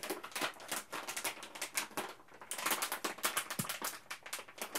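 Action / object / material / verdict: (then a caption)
shake / plastic food pouch / plastic / none. A resealable printed plastic food pouch, partly full, is held in both hands and squeezed and crinkled with the fingertips. It makes a dense run of sharp, bright crackles and rustles with almost no low end, easing briefly near the middle before picking up again.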